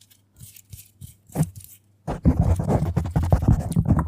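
Long nails from both hands scratch a black foam microphone windscreen. Sparse, soft scratches come first, then a sudden burst of dense, louder scratching and rustling at about 2 seconds. The sound is muffled and bassy, with a low thumping rumble and little brightness.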